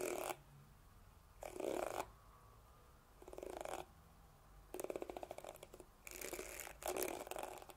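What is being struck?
Plastic hairbrush bristles.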